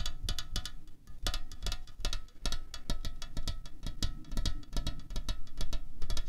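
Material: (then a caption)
Aluminium. Fingernails tap rapidly on a slim, hollow aluminium Coca-Cola Cherry can lying on a tablecloth. The result is a fast, irregular run of short, dry clicks with bright tinny edges over a dull, low hollow thump. Each tap dies away almost instantly.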